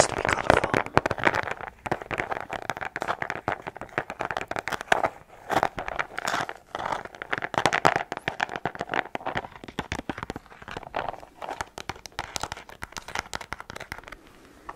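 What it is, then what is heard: Plastic case of chalk pastels. A small, clear, hard plastic box filled with colored chalk pastel sticks is held in both hands close to the microphone and tapped and scratched with long painted nails. The result is a dense, continuous run of quick, dry clicks and crinkly scraping, centered in the midrange with little low end and almost no ring after each tap.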